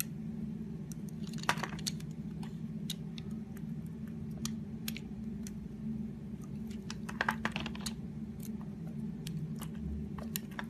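A utility knife blade carves a solid purple soap bar, shaving off ruffled curls. Short, crisp scraping and crunching clicks come at irregular intervals, with a few louder cuts, over a steady low hum.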